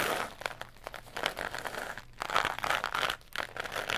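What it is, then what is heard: Cardboard tube. A long, hollow tan tube, likely cardboard, is held in both hands and twisted and bent at its middle joint. It makes dense, dry crunching and crinkling with bright crackles and almost no low end. The sound comes in irregular bursts, with short quieter pauses around the 2- and 3-second marks.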